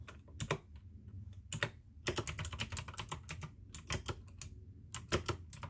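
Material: Plastic.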